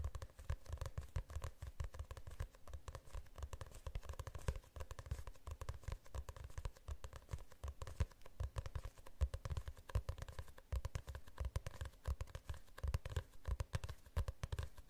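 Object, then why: Hardcover book with glossy cover. Fingernails scratch and tap the cover of a glossy hardcover book held in the hands. A steady, quiet stream of rapid, dull taps and scratches sounds, mostly low and muffled with only a faint bright edge, each tap dying away almost at once.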